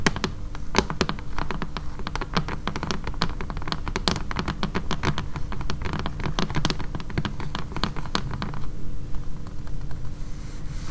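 Long fingernails tap quickly and lightly on the glass front of a flat, blue picture frame holding a printed poster. The result is a dense, uneven patter of short, sharp clicks over a steady low hum. The tapping thins out near the end.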